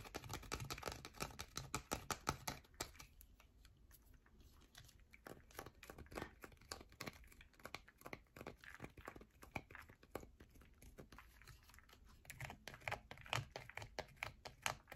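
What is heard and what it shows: Long nails scratch and tap rapidly across a solid yellow bar of soap, making dense, dry, crackling scrapes and clicks. The strokes are busiest and loudest in the first few seconds, ease into softer, sparser scratching in the middle, then pick up again toward the end.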